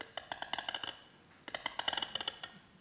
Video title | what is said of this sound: Violin making workshop 1080 | you can tell quite a lot from doing that. You know, the winter and summer growth. You know, the summer growth's not too soft